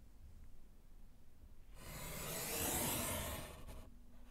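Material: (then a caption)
Slate. A gloved hand scratches vertical lines with yellow chalk across a small solid slate chalkboard set in a wooden frame. After a quiet start, a dry, gritty scraping rises at about 1.8 seconds, swells to a bright, hissy peak near 2.7 seconds, and cuts off just before 4 seconds, leaving faint low background noise.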